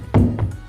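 Two low, hollow thuds, the first louder, ring briefly as a foot stamps on a floor or plate in a concrete and metal WW2 gun emplacement, with music playing underneath. The floor sounds hollow underneath, possibly a sunken gun mount hidden from the enemy, though this is not confirmed.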